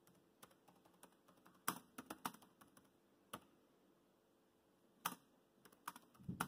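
Fingertips tap the black plastic keys of a laptop keyboard while typing, producing about fifteen short, quiet clicks with a mid-range tone and little ringing. The taps come in an irregular rhythm, with a pause of more than a second before a final cluster of keystrokes.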